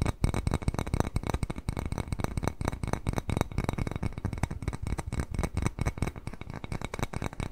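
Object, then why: Small glazed ceramic bowl. Fingernails rapidly tap the glazed surface of a small white glazed ceramic cat-face bowl held in both hands. The result is a steady stream of short, dry clicks with a heavy low thump and almost no ringing after each tap.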